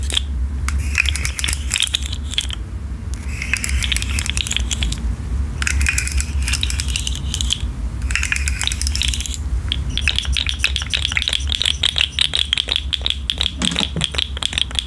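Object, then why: Articulated plastic fidget toy with hollow ring segments. A rainbow articulated plastic fidget slug made of hollow ring segments is held in the hand, bent and shaken so the segments click against each other. For the first ten seconds, rapid bursts of dry, bright plastic clicking come in short waves with brief pauses, over a steady low hum. The clicking then turns into a continuous, faster rattle until the end.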